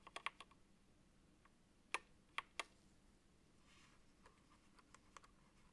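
A gloved fingertip presses keys near Enter and the control button on a backlit Apex Pro TKL (2023) wired gaming keyboard with plastic keycaps. Sharp, bright clicking taps come in an irregular scatter: a quick burst at the start, three louder clicks around the middle, then softer taps toward the end, each dying away almost instantly over a quiet background.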